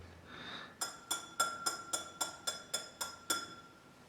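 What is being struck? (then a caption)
Drinking glass. Ten quick taps strike a piece of glass in a steady series, each giving a short, bright clink with a clear ringing tone near 1.4 kHz and high overtones. Each ring fades quickly before the next tap, after a faint breathy hiss at the start.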